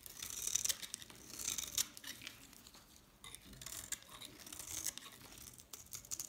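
A hand-held bar of dried solid soap with a pink rim and green face is scraped and crumbled so flakes fall off. The result is a quiet, dry, bright scratching and crumbling with rapid gritty bursts and almost no low end.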